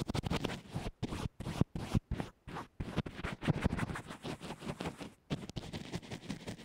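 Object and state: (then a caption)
Fabric-wrapped earphone mic being brushed. A small white plastic earphone microphone, wrapped in a textured fabric band-aid and lying on a yellow table, is brushed and scratched with a small dense black makeup brush held in fingers with red nails. Quick strokes come through as muffled, low-heavy scratching and rustling in rapid bursts with brief silent gaps, and very little brightness.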